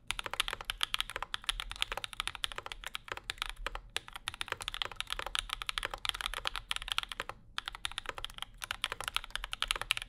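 Both hands type continuously with their fingertips on a compact Bauer 2 mechanical keyboard with Zykos switches, an aluminum plate and maroon and cream plastic keycaps. A rapid, steady stream of short, bright clacks plays with almost no ring, centered around 2.4 kHz, with only brief pauses between bursts.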